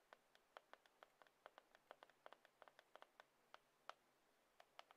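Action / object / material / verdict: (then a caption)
tap / glass and aluminium smartphone / glass / none. Long acrylic nails quickly tap the screen and edge of a black glass-and-aluminium iPhone held flat in one palm. About 25 quiet, crisp ticking taps sound in rapid succession, each clicking around 1.3 kHz with faint bright overtones and dying away almost instantly.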